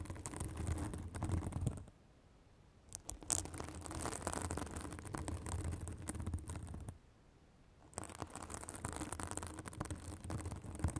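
Long acrylic nails scratch a white fibrous synthetic bath sponge held above a microphone, producing a dense, crackly rustle with a low rumble and a bright hissy edge. The scratching comes in three stretches separated by two short near-silent pauses.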